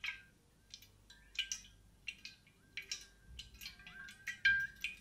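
Long painted nails tap and scratch along the body of a large grey, hollow, insulated stainless steel water bottle with a matte coating as it rests on the mic. Short, bright clicking taps mix with dry, scratchy strokes, and a faint metallic ring around 1.6 kHz lingers briefly under them.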